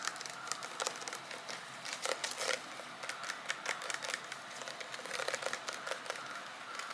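Fingernails tap rapidly on a green transparent plastic gel bottle with a barcode label, filled with liquid. The taps are quiet, quick, bright clicks and light crinkly ticks with no low end, each dying away almost at once. Their rhythm is dense and uneven, with a few louder taps standing out.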